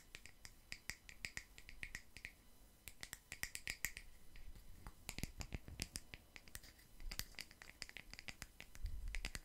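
A palm-sized, solid wooden log slice coaster, a round slice of natural wood with a bark edge, is tapped and scratched with long nails fitted with metal paperclips. Dense, uneven runs of sharp, dry clicks with a bright metallic tick at the top fall over a soft low scratching bed, each hit dying away almost at once.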